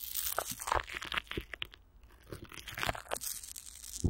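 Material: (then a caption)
Plastic film. Long nails scratch and fingers crinkle clear plastic film stretched over a hollow microphone grille, with Vaseline on the wrap. Dense, crunchy crackles and bright scratching come close up, with some low thumps. There is a brief quieter lull midway before the crinkling picks back up.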